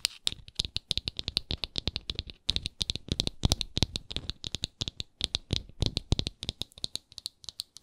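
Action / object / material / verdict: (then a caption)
tap / frosted glass jar with wooden lid / wood / none. Long acrylic nails scratch and tap mainly on the thick round wooden lid of a small, apparently full, hexagonal frosted glass moisturizer jar. The result is a fast, steady stream of crisp, dry clicks with bright highs and soft low knocks underneath, each tap dying away almost instantly. There is a brief pause near the middle of the run.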